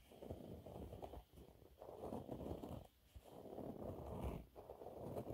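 Manicured nails on ringed fingers scratch and crinkle a thin, flexible yellow cleaning cloth with a raised dotted waffle texture, held upright in both hands. Soft, dense scratchy rustling comes in long bursts separated by brief quiet pauses. The sound stays low to mid-range with little bright content.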